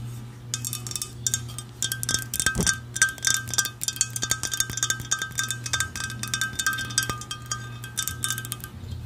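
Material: Ceramic.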